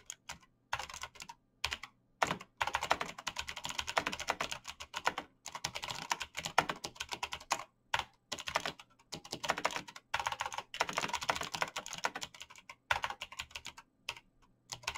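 Fast typing with bare fingertips on a black plastic mechanical keyboard with clicky switches. Rapid, bright, sharp clicks come in dense bursts separated by brief pauses, with almost no low end and very little ring after each keystroke.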